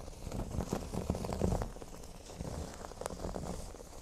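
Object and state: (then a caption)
Cork board being scratched. Fingernails of both hands scratch the centre of a large, flat, solid cork board shaped like a speech bubble. The result is a soft, dense, crackly scratching texture, mostly low and muffled, with small bursts of brighter grit.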